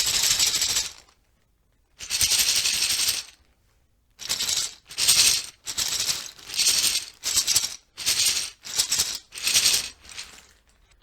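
The stock PBT plastic keycaps from a Leopold FC980M PD keyboard are shaken together in repeated bursts, each a bright, dense rattling clatter separated by short silences. Their sound is bassier than GMK ABS keycaps, as expected for PBT.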